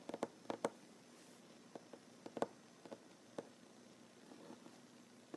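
A solid wooden tabletop is tapped with short fingernails, giving soft, quiet, dry clicks with a mid-range tone around 460 Hz that die away almost instantly. About ten separate taps come in irregular clusters over a low background hiss.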